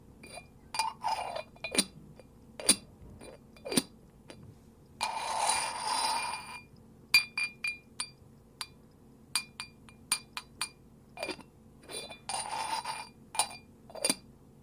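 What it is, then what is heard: Ceramic kyusu teapot lid. A ceramic lid of a kyusu teapot made by a young Japanese potter is tapped repeatedly. It gives bright, short clinking ceramic taps with a high ringing tone, and two longer scraping passes, as the lid slides against the pot. The lid is rated a six.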